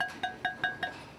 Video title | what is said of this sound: 펄펄 끓는 용암이 밥상으로 올라오는 과정│2000℃ 가마에서 구워낸 대리석만큼 단단한 자죽염│천일염을 대나무 꾹꾹 눌러 담아 9번 구워낸 죽염│소금 공장│극한직업│#골라듄다큐 | 소리가 땡글땡글 소리 나잖아요, 그냥. 예. 소리가 쇳소리다, 쇳소리. 되게 맑은 소리가 나네요.